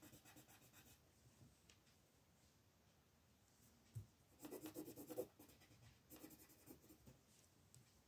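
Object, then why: Wooden coloured pencil on a paper page. A black wooden colored pencil scratches and rubs across a paper coloring book page on a table while coloring, as the other hand with red nails holds the page. Quiet, bright, papery strokes come in quick, uneven bursts. A soft low thump near the middle leads into a louder, denser stretch of scratching before the strokes ease back down.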